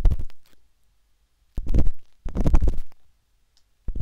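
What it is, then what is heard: Silicone microphone ear scratched inside. A metal-tipped, wooden-handled dot stick scratches inside the ear canal of a soft, solid, pale pink silicone binaural microphone ear. Bursts of deep, muffled rumbling scratching and tapping, with short silent gaps between them.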